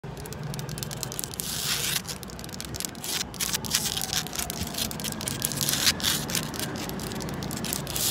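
Long blue acrylic nails fast scratch and tap a solid, rough grey concrete balcony ledge next to a concrete pillar, outdoors. A dense, bright, gritty rasping runs throughout with quick, irregular taps, over a low steady hum in the background.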